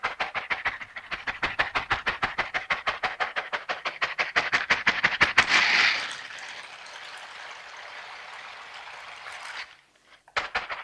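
A pair of long silicone dishwashing gloves with bristle-covered palms, worn on both hands, is rubbed as the palms and fingers press against each other. The result is a fast, steady run of bright, scratchy strokes at about three per second, centered near 2 kHz, growing louder until they blur into a sustained rasping hiss. After a brief silence near the end, a few more strokes follow.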